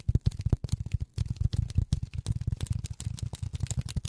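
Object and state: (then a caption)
Polyethylene foam. Polyethylene foam is tapped rapidly with silicone rubber finger pads, producing a quick, uneven run of soft, dull thumps. The taps are deep and muffled with almost no brightness, and each one dies away almost instantly.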